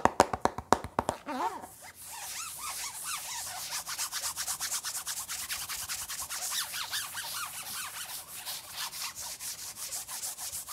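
Fingertips rub and scratch the printed lid of a hollow, closed hard plastic pencil box with a Hulk print, held close to the microphone. A quick run of sharp taps opens the clip, then gives way to steady, rhythmic scratching with a bright hiss and squeaky tones that rise and fall around 950 Hz.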